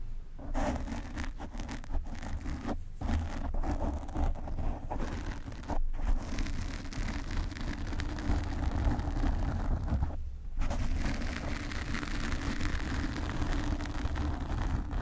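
Long pink nails scratch the black foam cover on a desk microphone, producing a steady, dense rustling scrape. The sound is heavy in low-end rumble, with brief dips near 3, 6 and 10.5 seconds.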